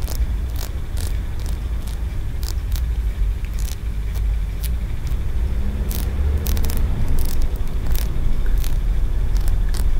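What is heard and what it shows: Short nails tap and scratch the tiers of a small, solid green aventurine stone pagoda held between open hands. Brief, bright clicks and scrapes come at an irregular pace over a steady, heavy low rumble. The sound grows slightly louder toward the end.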